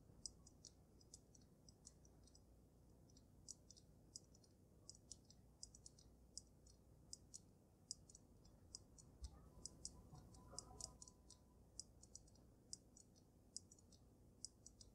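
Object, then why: Water-filled glass snow globe. Medium gray-painted fingernails tap on the glass dome of a water-filled snow globe with a dragon and glitter inside. The result is a steady run of quiet, sharp, high clicks that die away almost instantly, over a low, soft background hum.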